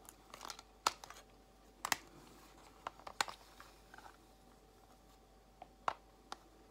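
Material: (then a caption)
Plastic. Long nails slowly tap the edges and compartments of a clear plastic organizer box holding false nail tips. About fourteen sharp, bright clicks sound at irregular intervals over a quiet background, each dying away almost instantly. Faint crinkly rustles come in between some of the taps.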